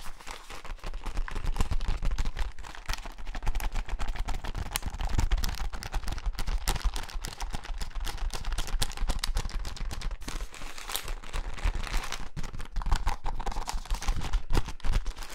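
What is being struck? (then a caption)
Soft plastic pouch with a plastic cap. A small soft plastic pouch with a white and teal printed label and a plastic cap is held close to the mic and tapped and scratched with fingertips and nails. The result is a dense, continuous stream of quick crinkly taps and scratches with a deep, muffled low-end thump.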